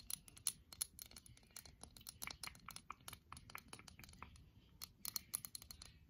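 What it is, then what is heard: Porcelain trinket dish. A small round white porcelain trinket dish with an orange floral pattern, held up in both hands, is tapped and scratched with long painted acrylic nails. The result is a quick, uneven run of bright, sharp clicks with a faint high ping, mixed with light scratching, and each tap dies away almost at once.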